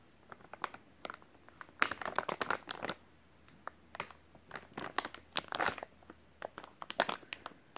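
A full, white soft-plastic wet wipes package is squeezed and crinkled with the fingertips. Quiet, dry crinkling comes in irregular bursts of short, sharp crackles with bright highs and almost no low end. Each crackle stops instantly, with no ring.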